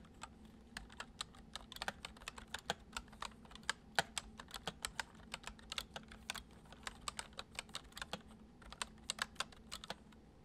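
A full-size white plastic computer keyboard with hollow keys, resting on a wooden desk, is typed on with the fingertips of both hands in fast, repeated taps. Each keystroke is a short, dry, bright click that dies away almost instantly, with a few louder strikes among the steady patter. Underneath runs a faint, constant low hum.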